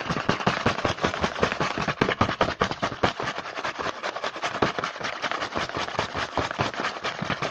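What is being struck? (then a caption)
Small printed cardboard box. Fingertips tap and scratch quickly on the front of a small printed cardboard Hanuta snack box held in the hand. The result is a dense, uneven stream of short, dry papery taps mixed with scratchy rustling, bright and crisp with little low end.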